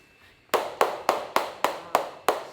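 The oldest Parmigiano Reggiano wheel in the warehouse, dated July 2015 and aged almost 96 months, is tapped eight times in a steady rhythm after a brief quiet lead-in. Each tap gives a dry, hollow knock centered around 740 Hz that dies away almost at once, sounding like wood.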